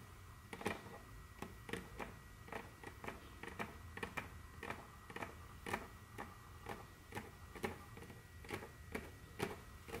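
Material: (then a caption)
Wood. Very long curved fingernails tap and scratch on a large, solid, dark brown glossy wooden tabletop, producing around two dozen sharp, bright clicks at an uneven pace. Each tap is short and dry, with soft scratching and a faint low hum between them, all at a quiet level.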